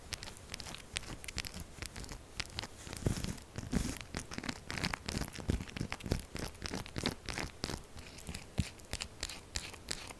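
Long acrylic nails scratch fast and aggressively at a solid, textured purple soap bar held upright. The result is a continuous run of crisp, crumbly scratching and tearing strokes with bright, sharp edges over a soft low thud, with no talking.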